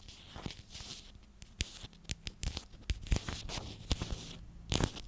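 Long nails scratch and tap a hand-sized, clear plastic cylindrical container with a purple lid and purple contents. Soft, dry scratching and crinkly rustling are broken by a series of sharp, short clicks and taps with a bright, papery edge.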